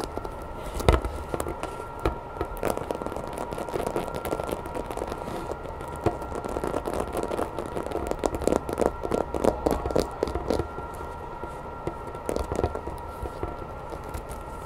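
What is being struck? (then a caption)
Hollow vinyl toy figure. Long nails tap fast on the back and spines of a grey, hollow vinyl Godzilla toy figure standing on a wooden table. The result is a dense run of quick, hollow clicks and light knocks, bunched in bursts over a faint steady hum, with some tones ringing near 1 kHz.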